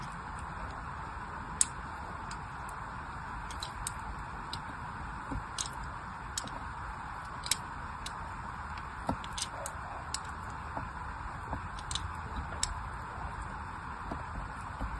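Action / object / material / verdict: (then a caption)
scrape / bar of soap scored with a thin blade / soap / none. A solid pink bar of soap, held in one hand with long white nails, is scored with a thin black-handled blade that carves shallow lines into its surface. Short, bright clicks and light scrapes pop out irregularly over a steady, quiet hiss.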